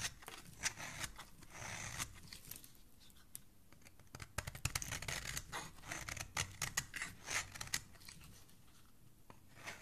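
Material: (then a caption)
Soap. A small, solid, cream-colored bar of soap held in the hand is scraped across its face with a flat metal blade, shaving off fine soap curls. The result is a string of crisp, dry, bright scraping strokes at an uneven pace, some sharper and louder than others, with no ring after each stroke.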